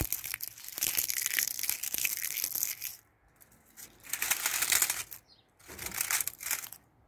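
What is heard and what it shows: Fingertips with long painted nails grab, pluck and crush a dense mat of dry, brittle brown ivy leaves covering a brick shed wall outdoors. The result is a bright, dry crunching and crinkling in three bursts separated by brief quiet gaps.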